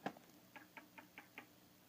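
A metal object taps seven times against the die-cast metal feet of an S.H. MonsterArts Gigan (2004) action figure, showing they are metal rather than plastic like the claws; the metal feet support the figure's weight. Each tap is a quiet, short, bright click with almost no ring. The sharp clicks confirm the feet are die-cast metal.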